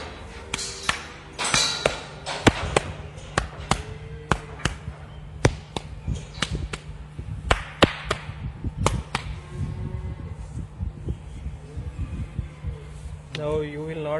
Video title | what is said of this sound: Left abomasum displacement roll and toggle method by dr Murtaza khalil- ANIMALS KNOWLEDGE | Now you will not hear the ping sound on the left side.